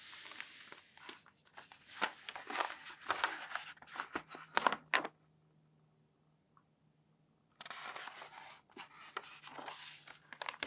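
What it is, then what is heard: Newsprint newspaper. A hand lifts and turns a page of an open newsprint newspaper on a table, then palms smooth the thin paper sheets flat. Bright, crinkly rustles and crackling bursts fill the first five seconds, fall to near silence with a faint low hum, then return as softer, steady rustling while the sheets are smoothed.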